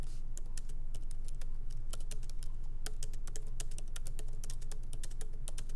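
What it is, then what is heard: Laptop keyboard being typed on. Light, fast fingertip typing and tapping with both hands on a MacBook Pro laptop keyboard, its small plastic keycaps set in an aluminum body resting on a wooden desk. Quick, bright, dry key clicks run in an uneven stream over a steady low hum.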